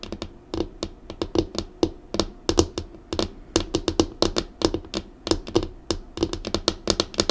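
Long acrylic nails on both hands drum quick taps across the flat, solid top of a black laminated wooden desk. The taps come in rapid, uneven clusters, each a sharp, bright click with a hollow knock around 330 Hz that dies away almost at once.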